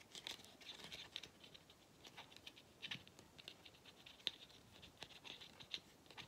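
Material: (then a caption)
Rubber. Fingernails tap and scratch the black notched rubber/plastic end cap of a hollow vacuum cleaner filter. Quiet, dry clicks and scratchy rasps scatter irregularly, bright and high with almost no low end. Each sound stops almost instantly, with sharper taps standing out now and then.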